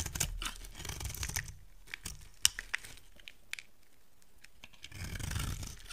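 A solid rectangular white soap bar, held in the hand, is carved and scraped with a utility knife blade. Dry, crumbly scraping and crunching comes in bursts, broken by sharp, bright clicks and quiet pauses in the middle, with a duller low rumble at the start and end.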